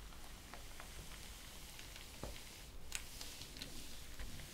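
Flat hands and long nails rub and trace across the printed paper pages of an open ring-bound thesis lying on a table. A soft, steady papery hiss carries throughout, broken by a few brief, brighter scratchy ticks where the nails catch the surface.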